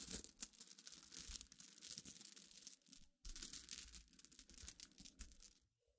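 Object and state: Glass pebbles.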